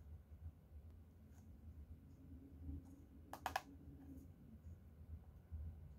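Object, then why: Laminated cardboard hardcover notebook. Both hands tap the cover of a closed teal hardcover notebook with a leopard print, covered in laminated cardboard and lying flat on a lace tablecloth, using medium-length painted fingernails. Three sharp, very short clicky taps bunch together midway through, standing out brightly over a quiet, low background hum.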